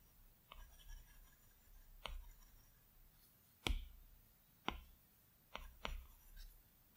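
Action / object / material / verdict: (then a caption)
scrape / glass tablet screen with plastic stylus tip / glass / none. A plastic Apple Pencil tip makes short, scratchy strokes across the large, flat glass screen of an iPad Pro. Each stroke produces a brief, bright tap-and-scratch over a quiet, low background hum, and the strokes come in an irregular series separated by pauses.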